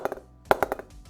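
An SS Gladiator 2020 willow cricket bat is tapped along its blade, working up from the toe. Six short, sharp knocks ring out with a bright, woody ping around 630 Hz that dies away almost instantly. The middle of the blade gives a strong, lively response from the sweet spot.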